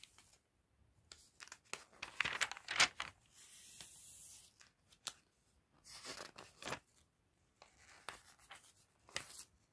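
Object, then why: Thin glossy paper catalog. Hands lift and flip the pages of an open, thin, glossy paper fashion catalog, producing bright, crisp crinkles and papery swishes. Short rustling bursts alternate with longer sliding rustles and brief near-silent pauses, all quiet with almost no low end.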